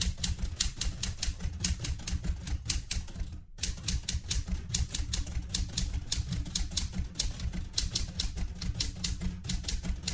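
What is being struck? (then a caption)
Metal manual typewriter. Fingertips type continuously on the keys of a vintage light blue portable manual typewriter with a metal body. Rapid, uneven bright clacks ring briefly over a steady low rumble, with one short pause around the 3.5-second mark before the typing resumes.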